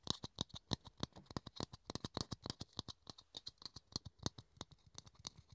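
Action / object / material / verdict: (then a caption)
tap / small plastic dome lid / plastic / none. A small, hollow, empty clear plastic dome lid held in the hands is tapped and scratched with the fingertips and nails. About 32 quick, dry, irregular taps sound in close succession, each a sharp click with a low thump and a bright, hollow plastic ring that dies away almost instantly, with faint scratching between them.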